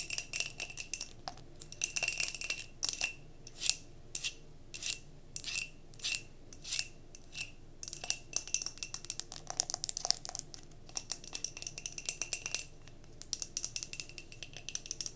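Long nails rapidly tap and scratch the glass body and label of a mason jar candle filled with solid wax, held sideways. The result is quiet, bright, clicky taps with almost no ring, broken up by short scratchy bursts, with a faint steady tone running underneath.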